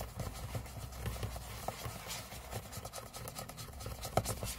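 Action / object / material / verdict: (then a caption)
scrape / aluminum laptop lid / aluminum / none. Fingernails of both hands scratch and rub the lid of a closed MacBook, a thin hollow aluminum shell resting on a table, heard up close. Quiet, steady scraping and rubbing carries a low, hollow rumble from the shell, with occasional sharper scratches and faint bright hiss above.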